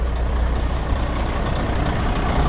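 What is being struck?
Nothing is struck.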